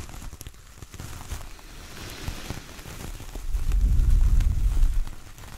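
Fingernails scratch and tap the coarse fibres of a large, flat, solid coconut coir door mat with a star print, with hands at its edges. A dense, rustling, crackly texture sits mostly in the low range, with brief dull taps. It swells into a louder, heavier rumbling scrape in the second half before easing off.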